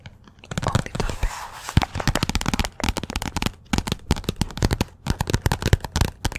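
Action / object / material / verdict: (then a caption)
tap / paperback book with glossy cover / paper / none. Long nails rapidly tap and scratch the glossy cover of a "Persepolis" paperback book that sits partly behind the microphone. The sound is a dense run of sharp, dry clicks over a low, soft rumble, with brief scratchy brushing between bursts of taps.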